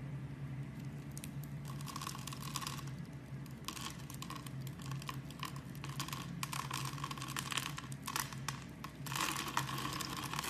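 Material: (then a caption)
Soap. A blade carves the pre-scored grid of a hand-sized, solid amber-brown translucent glycerin-style bar soap, held by fingers with long dark nails, crumbling small cubes off the surface. Dense, crisp crunching and crinkly scraping runs throughout over a steady low hum, growing louder and brighter near the end.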